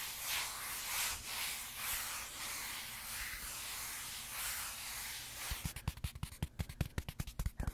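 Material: Velvet, cardboard.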